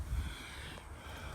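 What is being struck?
Nothing is struck.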